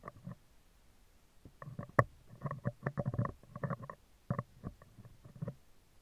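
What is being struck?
Woven steel wire microphone grille.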